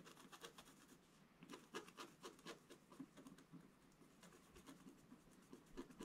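A wooden scratch stylus scratches short strokes into the black coating of a scratch-art page in a book lying flat on a table. Each stroke makes a dry, bright, raspy scrape that stops almost at once. The strokes come in an uneven run of about four per second at a soft level.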